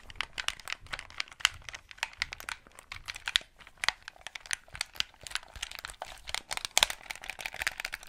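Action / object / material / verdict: tap / plastic game controller buttons and casing / plastic / none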